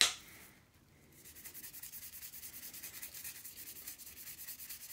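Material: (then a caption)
Steel. A solid steel golf iron head, held by its shaft over a blue towel, is scrubbed with a toothbrush through soapy foam. A brief bright tap opens the clip, then after a short quiet a steady, rhythmic, hissy scrubbing continues, almost all of it high and bright with little low end.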